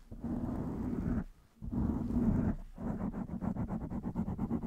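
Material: Foam.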